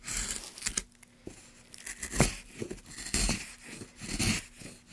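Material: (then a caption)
Pine wood. A gloved hand drives a gouge along a groove in a solid light pine block, scraping and cutting the wood. Irregular rasping strokes come in short bursts, each with a bright, hissy edge over a dull low thump, separated by brief quiet gaps.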